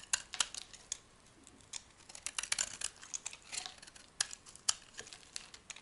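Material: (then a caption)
Soap. A solid, dry, soft white soap bar is held in the hand and shaved with a metal blade, peeling flakes and curls off its surface. The sound is an irregular run of short, crisp scraping and crackling bursts, bright and high with almost no low end, separated by brief quiet gaps.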